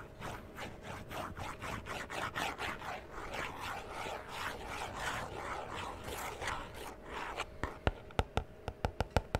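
Fingernails scratch and tap the sides and edges of a small hollow cardboard collectible toy box with a plastic window, its printed yellow side facing out, held in one hand. Steady, rhythmic dry scratching strokes fill most of the clip, then give way to a quick series of sharp, bright taps near the end.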